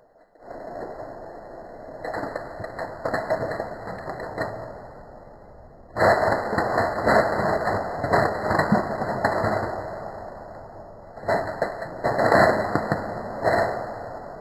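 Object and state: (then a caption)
Aluminium foil stretched over a bowl. Long fingernails tap crinkled aluminium foil stretched tight over the mouth of a medium bowl, a hollow drum-like surface, and the sound is slowed down. Bursts of quick, irregular, hollow crinkly taps centered in the midrange come in three clusters, separated by a softer steady rustling bed.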